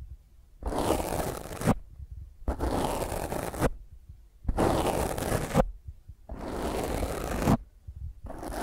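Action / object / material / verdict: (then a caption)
scrape / foam microphone windscreen / foam / none. Long fingernails scratch and rub a black foam microphone windscreen held in the other hand, producing five bursts of rough, broadband scraping, each about a second long and separated by short silences, with the last cut off at the end. The scratching has a strong low rumble and crackling texture that reaches up into high frequencies.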